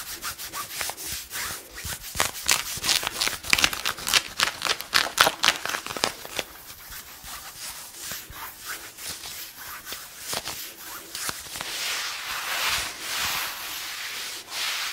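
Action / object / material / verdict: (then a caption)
scrape / denim jeans on a knee / denim / none. Fingertips and nails scratch and rub worn blue denim jeans at the knee of a seated person, close to the microphone. Quick, bright, papery scratching strokes come in an uneven rapid rhythm, loudest in the first half. They then ease into softer, steadier rubbing with a faint hiss.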